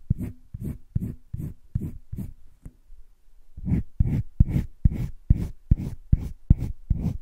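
A yellow-green colored pencil scratches shading along a heart outline on flat cream drawing paper in a wire-bound spiral sketchbook. About seventeen short, dry back-and-forth strokes are heard, a run of seven, a brief pause, then a steadier run of ten. Each stroke is a soft, low, scratchy rasp that stops without ringing.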